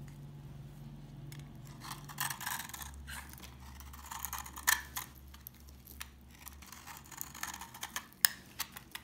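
A knife carves and scrapes curls off an old, dry, solid tan-brown bar of laundry soap held in the hand. The result is quiet, crunchy, bright scraping made of many short crackling bursts. There is a low steady hum underneath, and two sharper snaps stand out.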